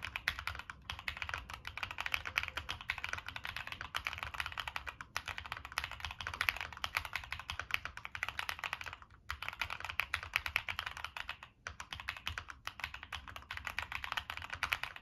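Fingertips type steadily on a Monsgeek M1 mechanical keyboard with a dark metal case and purple and black plastic keycaps. The result is a continuous stream of quick, bright plastic clacks with very short decay and a few brief pauses.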